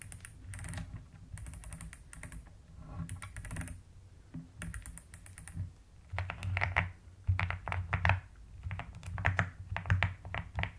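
Both hands with long nails type steadily on a plastic mechanical keyboard with pastel plastic keycaps and a white case. The keystrokes come in quick, uneven runs of bright clicks over a deep, rounded thock. The second half grows louder, with denser bursts of typing.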